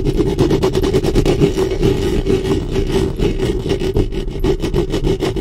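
Long fingernails scratch and rub the metal mesh grille of a black studio microphone, with the hands staying on the mic head. The result is a dense, close, continuous scratching texture, heavy in the lows with a steady hum-like band around 400 Hz. Quick, irregular strokes are layered over it, with little high-end brightness.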